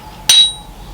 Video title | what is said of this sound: Restoring a 100 Year old Machine | you can hear the sort of higher pitch ringing sound